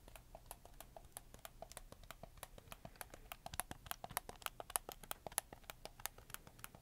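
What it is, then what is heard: Plastic game controller. Fingertips rapidly click the buttons and triggers of a black PS4 game controller with white joysticks, made of hollow plastic. About forty short, dry, bright clicks arrive in a quick, uneven stream, each dying away almost instantly over a faint, steady low hum.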